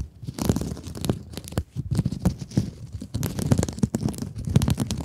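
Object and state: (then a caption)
Mesh scrub sponge scratched with nails. Long nails scratch the surface of a soft, blue glittery mesh scrub sponge held close in front of a microphone. The result is a dense run of quick, crackly scratching bursts, heavy in low rustle with brief bright crinkles, that pause and resume in uneven strokes.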